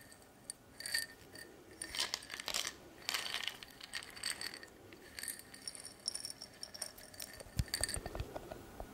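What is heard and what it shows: A medium-sized clear glass jar with a silver metal lid and a label, partly filled with small metal pins, is held in both hands with long painted nails and shaken and turned. Its contents rattle in bright, jingling bursts of metal against glass, with quieter pauses between the shakes.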